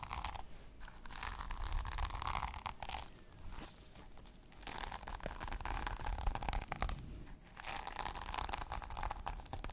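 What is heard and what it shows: Long nails scratch and flip the plastic sequins on a small sequin-covered notebook cover held close to the microphone. The result is a dense, crunchy rustle of rapid clicks with bursts of bright scraping and a strong low rumble, briefly easing to softer patches before picking up again.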